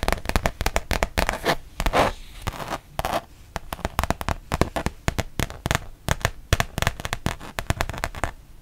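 A thin, solid printed rubber-backed fabric mouse pad is held in both hands and tapped and scratched on its printed side with long painted nails. Rapid, dry, crackly taps run throughout, broken up near the start by a few longer, brighter scratching swishes. Each sound stops at once with no ring.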